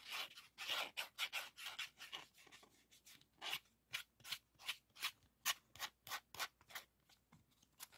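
Fingertips rub the textured hard plastic shell of a green 3.5-inch floppy disk with a metal hub, held up close, and slide its black shutter. About 21 quiet, bright, dry scratching strokes come in quick bursts with no low end and almost no ring.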